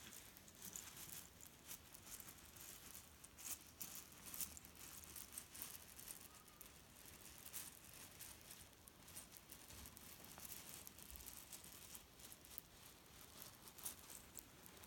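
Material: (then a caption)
Cherry stones. Fingers tap, pat and press the top of a grey leaf-print cotton pillow filled with cherry stones. The result is a quiet, continuous, bright rattle and crunch of shifting pits, with soft fabric rustle and occasional louder taps.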